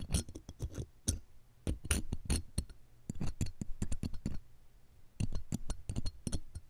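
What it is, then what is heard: Metal microphone mesh grille being scratched. A thin metal wire hook lightly scratches and taps the round metal mesh grille of the left one of two bare pencil condenser microphones. Quick bright ticks and scratchy clicks come in clustered bursts separated by short quiet gaps, each landing with a low, close thump in the mic. The sounds die away almost instantly, with no ring.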